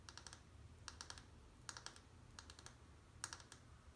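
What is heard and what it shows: Long painted nails tap and click on the surface of a small, dry, solid peach-colored bar of soap held in the other hand. Crisp, bright clicks come in quick clusters of three or four, each dying away almost instantly. A faint low hum sits underneath.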